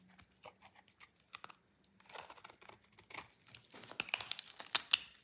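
A utility knife cuts into a solid, dry pink bar of soap, making quiet, crisp crunching and scraping cuts. The bright, sharp snaps grow louder and quicker toward the end, until only a thin piece of soap is left in hand.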